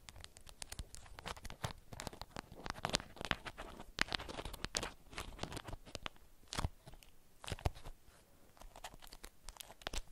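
A beeswax-coated cotton wrap is held and crumpled in the hands as nails and fingers crinkle the stiff waxed fabric. Dense, dry crackles and sharp broadband snaps come in a steady, uneven stream with no ring after each crack, over a quiet background.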